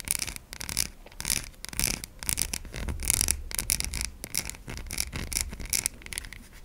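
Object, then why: Bar of soap. A solid white bar of soap is held in the hand while long nails tap and scratch its surface and side. Quick, bright scratching strokes and short tapping clicks come in bursts, with brief pauses between them and a soft low rumble underneath.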